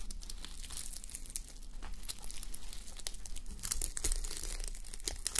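Long nails scratch a fabric sleep mask covered in plastic reversible sequins, resting on a white mannequin head. A steady stream of dense, crinkly scraping clicks and rustles, bright and sharp in the highs, with quick flicks as the sequins flip.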